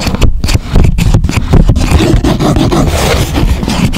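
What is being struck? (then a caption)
Flattened chipboard sheet. Fingertips rub and scrape across the surface of a flattened grey chipboard sheet with a folded flap. The result is a steady, dense scratching and rustling that is heavy in the low range, with a few brief brighter scrapes early on.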